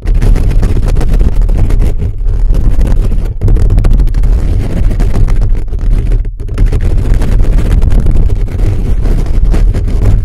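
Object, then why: Metal mesh microphone grille. Fingertips rapidly scratch and tap the top of a hollow black metal mesh microphone grille. The result is a dense, continuous low rumbling and scuffing with almost no high content, broken by a few brief dips in loudness.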